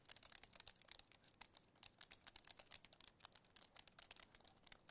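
Fingertips and nails tap and press quickly across the keys of a compact white wireless keyboard with an aluminum frame and plastic keys. The result is a rapid run of quiet, dry, bright clicks with almost no low end and no ring after each tap.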